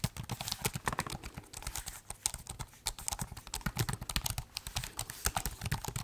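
Fingertips type quickly on the plastic keys of a silver laptop keyboard while the laptop is held at various angles. The result is a dense run of short, dry clicks, each pairing a soft low thump with a bright, crisp tick that dies away almost at once.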